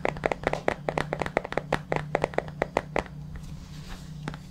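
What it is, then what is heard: Plastic supplement tub. Fingertips tap and scratch the lid and labelled side of a white plastic supplement tub held upright beside the mic. A quick, irregular run of short, dry, hollow taps with no ring sits over a steady low hum. After about three seconds it fades to soft scratching with a few faint taps.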